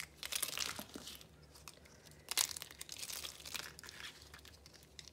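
Fingers break and crush dried rainbow soap pieces and crumbs resting on a red cloth. Dense, bright, crisp crunching and crackling bursts come in clusters, with the sharpest crunch about halfway through, over a quiet low hum.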